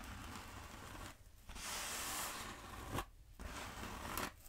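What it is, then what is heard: Foam roller. Long acrylic nails scratch and tap along the textured surface of a long black exercise-style foam roller held upright. The result is bursts of dry, bright, hissing scratches separated by brief quiet gaps, with two sharp taps that stand out near the end.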